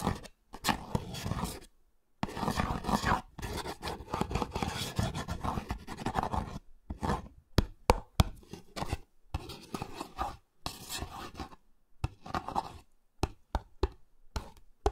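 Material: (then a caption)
Cardboard. A small printed cardboard Olay cream box is held up close to the microphones while a fingertip and nail tap and scratch its front panel and corner. Long stretches of dry, rough scratching give way to quick, sharp taps with almost no ring, separated by brief silences. The sound is close, papery and full in the low end.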